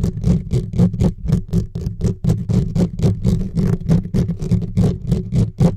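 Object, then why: Metal mesh microphone grille. Fingertips and short nails from both hands scratch fast across the bare metal mesh grille of a silver USB microphone with no windscreen. Rapid, slightly uneven scratching strokes each bring a short bright rasp over a heavy, boomy low rumble. The strokes run continuously, about four per second.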